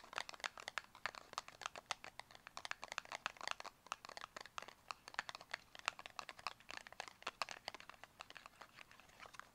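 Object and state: Cardboard makeup box.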